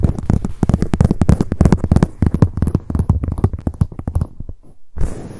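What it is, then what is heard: Leather handbag tapped with long nails. Long acrylic nails tap rapidly on the leather surface of a black leather handbag lying on its side, hollow inside. The result is a dense run of soft, dull, low thumps with a slight hollow resonance and almost no ring. The tapping thins out into a brief pause near the end, then a softer rustle follows.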